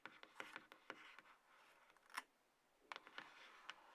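Long nails scratch and rub the sides of a small, closed, hollow white-grey cardboard box, the lower part of iPhone packaging, resting on a table. Quiet, dry, papery scrapes alternate with crisp nail clicks that are bright and lack any low end, with soft rubbing in between and a brief lull midway.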